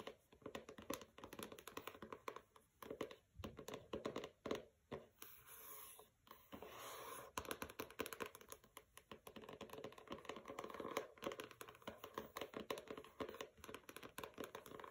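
Long nails rapidly tap the cover of a pink hardcover book with a matte paper dust jacket resting on a carpet, and the jacket shifts under the fingers. The quiet, dry taps are dense and short, with a midrange body, and they mix with scratchy paper rustles. Around the middle, a smoother, brighter scraping passage briefly replaces the tapping before the quick taps resume.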